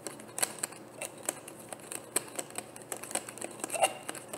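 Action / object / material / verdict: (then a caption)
tap / plastic bottle / plastic / none. Long painted nails tap quickly on a frosted white plastic bottle with a black cap, which looks hollow and partly filled. Each tap gives a short, dry, bright click with a light hollow tone and almost no ring, over a faint hiss.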